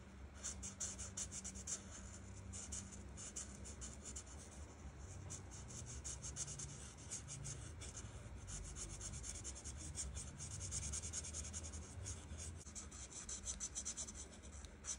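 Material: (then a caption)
Paper. The felt tip of a plastic art marker rubs back and forth across a flat paper coloring page, filling in red petals, held by a hand with long red nails. Quiet, steady, scratchy strokes make a bright, dry hiss over a faint low hum, continuing without pause throughout.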